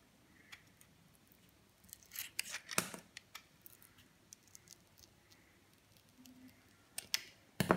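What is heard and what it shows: A utility knife blade shaves and scrapes the glitter coating off the face of a hand-held oval solid soap bar with a green inside. Short, dry, crisp rasping strokes come in scattered bursts over a quiet background, with the loudest, brightest scrapes near the middle and the end.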